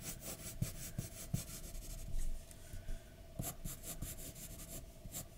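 A graphite pencil scratches short strokes on a flat white paper drawing sheet lying on a dark desk, with a hand resting on the paper. Soft, papery scraping rasps are punctuated by brief low taps around 125 Hz where the pencil strikes the sheet, and a fuller rubbing stretch sits in the middle.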